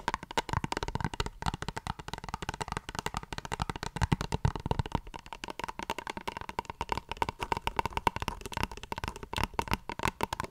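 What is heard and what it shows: Long fingernails tap and scratch a small plastic face wash tube held close to the mic, making a dense stream of quick, dry clicks and rasping scrapes. The clicks have a faint tonal ring near 930 Hz and a firm low thump, with no lingering resonance.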